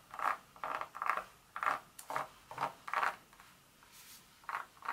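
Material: Chocolate.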